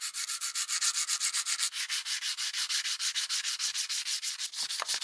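A solid steel plier half held in a vise is polished with fine sandpaper wrapped around a file. It makes a rapid, steady run of about 34 short, bright, hissing sanding strokes with almost no low end.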